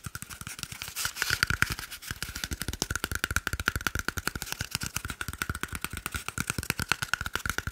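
A small, hollow, empty cardboard toilet paper roll tube is held in one hand in front of the microphone and quickly tapped and scratched with the fingertips and short nails of the other hand. A rapid, steady stream of dry, papery taps with soft low thumps and a faint hollow ring around 1.5 kHz is heard, with brief bright scratchy passages between the taps.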